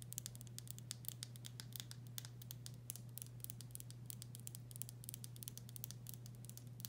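Long nails tap rapidly and lightly on a full glass pickle jar, moving over the back label and the bare glass. Each tap is a short, bright click that dies out almost at once, over a steady low hum.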